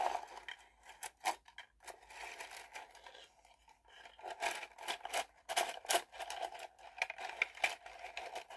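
Long painted nails rustle and tap a bundle of thin bamboo skewer sticks in a small wooden box, then push the bundle down into the box. Dry, scratchy rustling is broken by quick, bright clicks and taps that die away almost instantly, with no low end. The sound stays quiet and close throughout.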